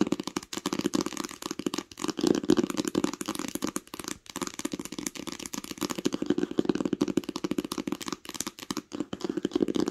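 Long pink nails tap quickly across the cover of a green cloth-covered hardcover book lying flat. The result is a dense stream of soft, dry clicks with a dull mid-range thud around 330 Hz. Each tap dies away at once, with no ring.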